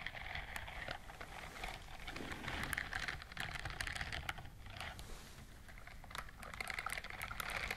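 Long fingernails scratch and brush across the bristles of a white silicone dishwashing glove worn on the other hand. The result is a dense, continuous stream of quick, crisp ticks and crackles, bright and close like fast keyboard tapping or patter, with slight swells in intensity.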